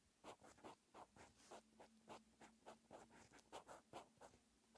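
A green pen's metal tip scratches across a lined white paper notebook page as Korean text is handwritten. Quiet, rapid scratchy strokes come in short bursts with a bright papery hiss. A faint steady low hum sits underneath.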